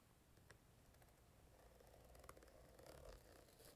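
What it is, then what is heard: Vinyl zippered case tapped and scratched. Long painted nails tap and scratch the shiny top of a small, hollow, purple quilted patent-vinyl zippered carrying case held in the hand. The result is a quiet, steady scratchy rustle over a low rumble, broken by sharp, bright clicks and slick squeaks.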